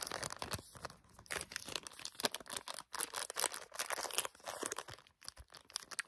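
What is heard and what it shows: A small bar of soap in a thin printed plastic-film wrapper is held in both hands while fingertips squeeze and crinkle the wrapper. The result is a dense run of bright, crackling crinkles with brief quiet gaps and almost no low end.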